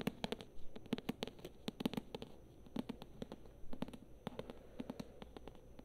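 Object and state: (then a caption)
Paperback book. Long nails tap and scratch on the glossy cover of a thick paperback novel held near the face. The result is a rapid, irregular run of short, dry, close-up taps with a soft low-mid body and no ring. Faint scratching fills the gaps between the taps.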